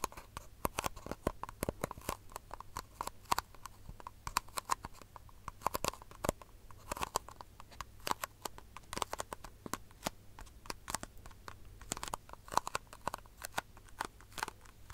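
A small, empty, white disposable plastic cup is held upside down over the microphone and tapped and scratched with long fingernails. Rapid, dry clicks and scratchy taps with a hollow tone around 1 kHz patter unevenly throughout, each ending almost instantly over a faint low hum.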